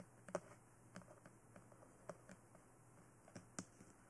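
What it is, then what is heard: Hard plastic dummy head tapped with nails. Long nails tap and scratch around the ears and top of a life-size glossy black hard plastic BE-1 dummy head fitted with ear microphones. Sharp, short clicky taps with a mid-range knock sound against a quiet hiss, with the strongest tap near the start and another close to the end.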